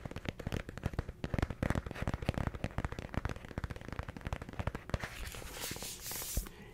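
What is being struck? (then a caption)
Paperback book with cardstock cover. Fingertips tap quickly on the cardstock cover of a small, solid yellow paperback affirmations book held up in one hand close to the mic. The result is a rapid, uneven patter of short, dry, low thumps with crisp clicks, ending in a softer brushing rustle.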